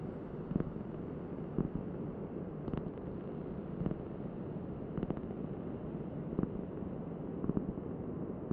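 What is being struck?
Round cork board.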